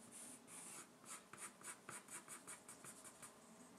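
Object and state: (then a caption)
Pencil scratching on drawing paper. A gloved hand draws on a white A3 paper sheet bearing a bird sketch, resting on a wooden desk, using a wooden graphite pencil. It makes repeated short scratching and hatching strokes, each a quiet, bright, hissy scrape of graphite on paper with little low end, following one another in a steady rhythm.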